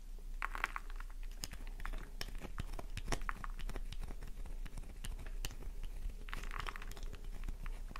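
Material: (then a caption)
Soap. Long nails gouge into a solid pink flower-shaped bar of soap, peeling off curls of soap. Dense, crunchy scratching and crinkling fill the clip, with quick sharp clicks and taps scattered throughout over a steady low hum.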